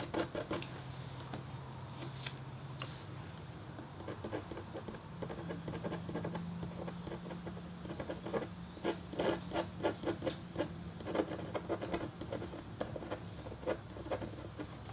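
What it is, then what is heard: Copper scratch art board. The metal tip of a red stylus makes quick pecking scratches on a thin, solid, flat copper-foil scratch board coated in black. Short, dry, rasping ticks come in uneven bursts over a faint low steady hum, growing denser and a bit louder toward the end.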